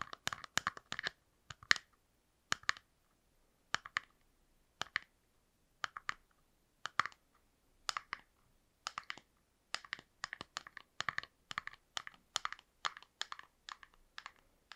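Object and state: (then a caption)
Frosted plastic box. A small frosted plastic box is tapped rapidly with fingernails on its sides. It produces quick clusters of sharp, dry clicks centered around 1.8 kHz, with a bright top and almost no low end. Each click dies away almost instantly, and the bursts come in irregular runs separated by short pauses.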